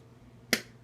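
A metal lid on a glass canning jar of hot homemade strawberry jam, set aside after coming out of the canner, pulls down with a single sharp, bright ping that dies away almost at once. The ping means the jar has sealed.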